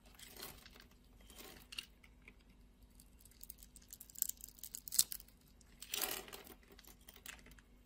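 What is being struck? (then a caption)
Bar of soap cut with a blade. A craft-knife blade scores grooves into a solid red soap bar held in the hand and shaves off small cubes. Quiet, bright, crisp scraping strokes alternate with short sharp cutting ticks, with a longer, louder scrape near the end.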